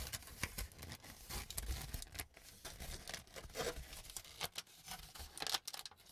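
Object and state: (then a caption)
Crumpled aluminum foil. A crumpled sheet of aluminum cooking foil is held in both hands and crinkled by the fingers. It gives a quiet, continuous run of sharp crackles and papery rustles with a bright, crisp top end and a soft low rumble underneath.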